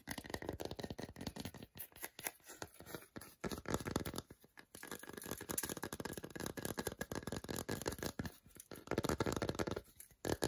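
Fingernails rapidly scratch and tap the front segments of a whole segmented milk chocolate bar held in the hand. The result is a dense, dry stream of crackly scratches and quick taps, mostly low and mid in tone, with brief pauses and almost no ring after each stroke.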